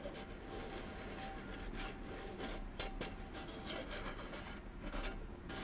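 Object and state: Metal candle tin being scratched.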